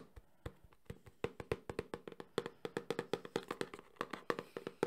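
A small, closed, hollow cardboard Samsung phone box is tapped fast with fingertips and nails on its front and edges. About 27 quick, dry taps each carry a short hollow tone near 470 Hz with bright clicky tops. The taps grow denser and louder as the sequence goes on.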